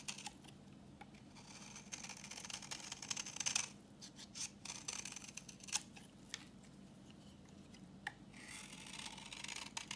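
A utility knife blade scrapes a solid, translucent reddish-brown bar of dry vintage soap held in the hand, shaving off orange curls. The sound is quiet, bright, dry scraping with crisp hissing strokes and scattered sharp little crackles and clicks.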